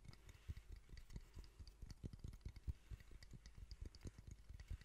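A small, hollow, reddish-brown wooden box held in both hands is tapped and scratched with long painted fingernails. The result is a quiet, steady stream of short, dull, low thumps with very little ring, under a faint papery scratching.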